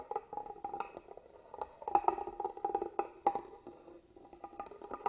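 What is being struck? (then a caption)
Carved wooden box. A small black tool traces and scratches along the carved pattern of a hollow, hand-carved wooden box held upright. The result is a quick run of dry scratches and clicky taps with a hollow, woody resonance in the mid range, pausing briefly before resuming.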